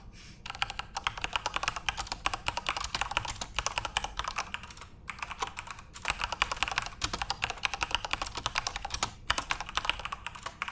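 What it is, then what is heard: Plastic mechanical keyboard. Fingertips rapidly type on a full-size Corsair RGB-backlit mechanical keyboard with plastic keycaps. The result is a dense stream of bright, sharp clicks and clacks that stop dead, broken by brief pauses before the typing resumes.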